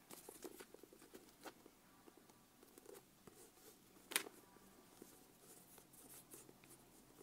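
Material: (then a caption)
Leather. Long nails tap and scratch the cover of a closed brown leather notebook with a strap, held in the hands. Soft, dry, high-pitched taps and faint scratching come over a quiet background, with one sharper tap standing out near the middle.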